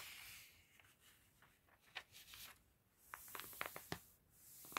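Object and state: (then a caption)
Paper catalog pages being turned. A gloved hand with red-nailed fingertips turns the pages of an open, thin, glossy paper fashion catalog lying on a table. Soft, airy rustling and sliding of the paper is broken by seven short, crisp ticks and flicks as pages catch and fall. The whole sound is quiet, dry and bright.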